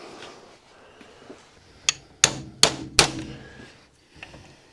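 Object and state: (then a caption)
Bearing fully seated in housing. A steel ball bearing is gently tapped into its metal housing on a Wolf tool post grinder with a hammer against a socket. Four sharp, bright metallic taps are heard, with the last three taking on a fuller, ringing tone as the sound changes when the bearing reaches the bottom. The bearing is fully seated and still turns nicely.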